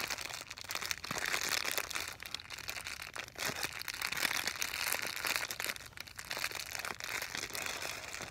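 A full, hand-sized, clear, thin, soft plastic bag holding a folded blue fabric item, apparently slipper socks, is held in both hands and squeezed and crinkled with long painted nails and fingertips. The result is a steady stream of bright, dry crinkling and crackling with almost no low end, swelling and easing in waves.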